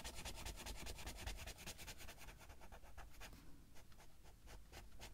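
A green felt-tip marker is rubbed back and forth in quick strokes across a thin paper page of an open Heartstopper coloring book lying flat on a table, while the other hand steadies the page. Fast, bright scratchy strokes repeat at a steady, brisk pace over a soft low rumble, ending with slightly quieter, more spaced strokes.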